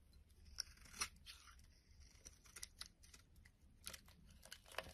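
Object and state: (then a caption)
Bar soap being carved. A metal blade carves and scrapes a solid purple bar of soap, peeling it into curled flakes. Quiet, dry, bright scraping is broken by a series of short, crisp crackling clicks that stop at once without ringing.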